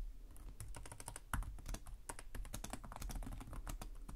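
Both hands type rapidly with their fingertips on the plastic chiclet keys of a black laptop with a hollow chassis. The result is a fast stream of short, bright clicks and taps over a steady low hum, with one louder tap standing out near the middle.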